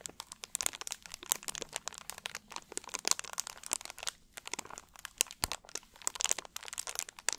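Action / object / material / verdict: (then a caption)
scrape / plastic drink bottle / plastic / none. An empty, hollow, clear plastic drink bottle with a label is squeezed and crinkled with both hands and fingertips. It produces a dense, quiet stream of bright, sharp crackles and crunchy pops with almost no low end, each snap dying away instantly.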